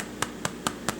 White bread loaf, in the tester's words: that's what they're supposed to sound like when they sound like that you're good to go